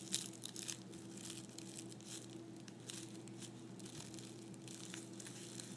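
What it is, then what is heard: Tissue paper crumpled. A small folded piece of white tissue paper is folded and crumpled in both hands, making quiet, bright crinkling bursts that come and go without pause. A steady low hum runs underneath throughout.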